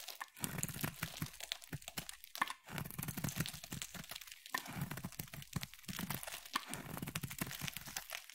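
A hand-sized oval bar of solid purple soap with a ridged surface is carved into shavings with a utility knife blade. Dense, dry crackling and crunching scrapes repeat rapidly and unevenly, bright and crisp with a soft low thud under each cut and almost no ring.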